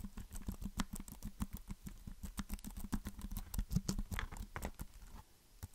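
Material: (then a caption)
Plastic. Fingertips tap the flat plastic back of a compact black plastic keyboard's hollow underside casing. The result is a quick, uneven patter of short, dry taps, each with a low hollow thump and a faint bright click that dies away at once. The tapping thins out and grows quieter near the end.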